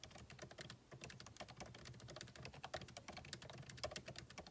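Fingertips of both hands type rapidly on a backlit MacBook Pro keyboard with plastic keycaps in a solid aluminum body resting on a desk. A dense, steady stream of quick, light key clicks is heard, each tap short and dry with a bright top and a soft low thud.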